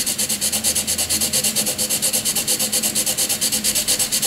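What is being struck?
Graphite pencil on a paper sheet.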